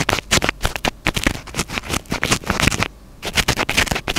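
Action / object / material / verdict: scrape / foam microphone windscreen / foam / none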